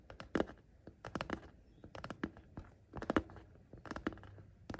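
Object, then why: Zippered coated-fabric pencil case. Short painted fingernails tap and scratch along the top edge near the metal zipper of a soft, hollow pencil case of printed coated fabric lying flat. Quiet, dull taps and scratchy brushing strokes come in an uneven run of bursts with short bright clicks. Each burst dies away almost at once.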